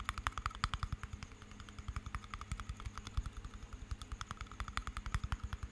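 A small glass jar with water inside and a metal lid is turned in the hands while fingernails tap its glass side and lid. The result is a quick, uneven run of sharp little clicks, each with a dull low knock under a brief bright tick that dies away almost at once.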